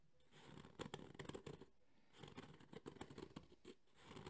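Thumbnails scratch the ribbed, textured surface of a black JBL hard EVA speaker carrying case held in both hands. Quick, dry scratching strokes come in two busy bursts separated by a brief quiet pause, with a bright, rasping texture over a low rustle.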